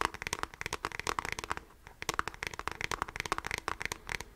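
The fingertips and nails of both hands scratch across the hollow beige plastic back of a handheld device, likely a graphing calculator, held horizontally. The result is a quick, dry run of bright scratching clicks with a plasticky midrange tone, with a brief lull just before the two-second mark before the scratching picks back up.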